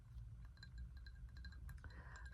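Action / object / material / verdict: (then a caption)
tap / small glazed ceramic bowl / glazed ceramic / none. Light, quick taps on a small glazed ceramic bowl that fits in the hand and holds about a cup, giving soft clinking tones near 1.6 kHz over a low rumble. The taps come in a steady flurry with short rings, and a brighter sustained ring rises near the end.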